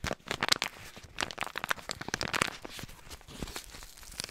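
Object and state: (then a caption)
Foil-lined paper sauce sachet being crinkled. A small, flat, yellow foil-lined paper Bolognese sauce-mix sachet filled with powder is held in both hands near the microphone and crinkled and rubbed with the fingertips. The result is a steady stream of bright, dry crinkling and crackling with sharp little snaps, mostly in the high range with very little low end.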